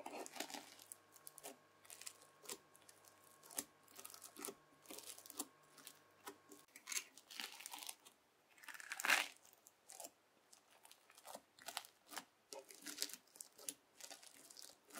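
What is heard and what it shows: A white plastic fork scratches into red bead-filled floam slime, lifting and folding it. The result is a quiet, close series of crisp, bright crunching and crackling bursts with a tearing texture, each dying away almost at once. A faint steady hum sits underneath for the first half.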